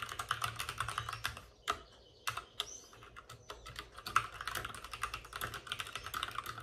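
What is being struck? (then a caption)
Plastic mechanical keyboard. Both hands type rapidly with short-nailed fingertips on a white, full-size plastic mechanical keyboard with plastic keycaps and RGB backlighting, set on a desk with a padded wrist rest. Quick, bright, clicky taps run in dense bursts, briefly pausing near the two-second mark before resuming. The keystrokes are short and crisp, with little low-end thump.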